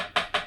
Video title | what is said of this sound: How to Fix Isolated Guitar Fret Buzz Step 2 of 5: Evaluate and Diagnose High Guitar Frets | now I can hear that this fret is solidly seated in the fretboard